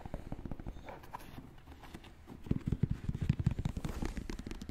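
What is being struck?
Leather high-top sneaker.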